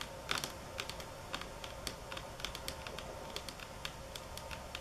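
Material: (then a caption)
Granite. Long fingernails tap on a solid, speckled stone countertop of marble or granite. The result is a quick, irregular series of sharp, bright clicks that vary in strength and die away almost at once, over a faint steady hum.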